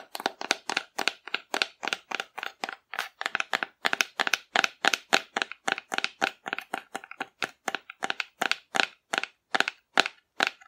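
A hollow painted cardboard dinosaur figure, held upright, is tapped rapidly with long nails, giving around 47 crisp, dry clicks in a steady stream. Each tap is sharp and bright with almost no low end and dies away instantly, leaving brief silences between hits.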